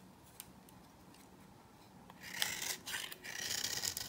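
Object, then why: Bar of soap scraped with a knife. A knife blade cuts and scrapes crumbly shavings from a dry, solid cream-yellow bar of old soap held in the hand. After two quiet seconds with a few faint ticks, loud bright, dry scraping bursts take over with a gritty, rasping texture and almost no low end.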